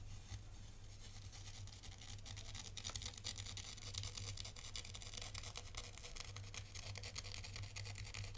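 A hand-held thin black stylus scratches lines into fine white sand in a tray, making crisp, bright, rasping scrapes in quick repeated strokes. A steady low hum runs underneath throughout.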